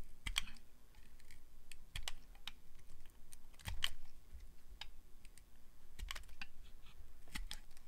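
A metal blade carves thin slices from a solid translucent glycerin soap bar, producing a quiet series of short, crisp clicks and scrapes. Each cut has a brief bright snap over a soft low thud, dying away almost instantly.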